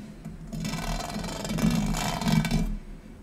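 Fingernails scratch across a large oval gold metal tray with a raised square-grid pattern, thin and hollow underneath, lying on a marble surface. A continuous raspy, ridged scraping with a low hollow resonance swells in after about half a second, peaks around two and a half seconds, then drops away.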